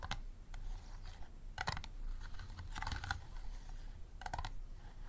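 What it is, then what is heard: Empty plastic water bottle. Fingertips and nails tap quickly on the sides of a small, empty, clear plastic water bottle with a green cap, standing upright and hollow. Short, dry, bright clicks come in quick clusters over a steady low rumble. Each tap dies away almost at once.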